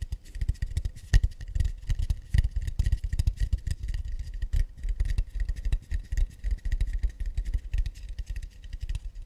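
Tapping and scratching on an acacia wood plate: a fast, continuous run of soft, dry taps with short ringing, mixed with light scratchy scraping that carries bright, high detail above a low, thumpy body.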